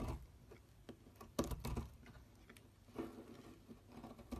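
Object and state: Bar soap being carved.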